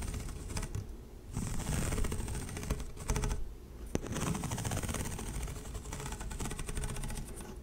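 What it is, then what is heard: Plastic pop tube. A single light blue corrugated plastic pop tube fidget toy, hollow and flexible, is held in both hands with long painted nails and pulled and stretched close to the mic. Its ridges give off rapid, dense clicking and rattling over a low rumble, with brief pauses and one sharp snap partway through.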